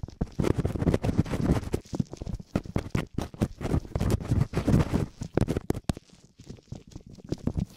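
Latex-gloved fingertips scratch and rub both small, hollow silicone ear covers of a binaural microphone. It makes fast, dense bursts of muffled, low-heavy scraping and thumping that fade to softer, sparser rubbing near the end.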